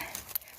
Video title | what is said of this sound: Icing Trattkantarell Mushrooms - on Christmas day - Come Eat With Anya | ก็เห็ดมันแข็งมากเลยค่ะมันเป็นแบบไอซ์